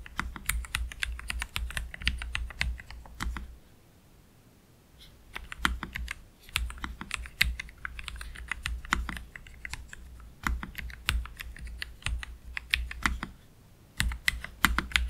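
Fingertips on both hands slowly press the plastic keycaps of a black Keychron K3 Pro low-profile mechanical keyboard with Gateron Red low-profile switches, resting on a desk mat. Irregular runs of short, bright clicks and clacks with almost no ring are heard, broken by quiet pauses around 3.5 to 5 seconds and near 13.5 seconds. A steady low hum sits underneath.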